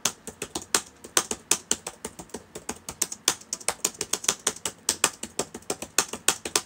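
Fingertips of both hands type on the plastic keys of a black laptop with a hollow body, open on a table. Quick, bright clicks with very short decay come in a steady run of about 38 keystrokes, with almost no low end.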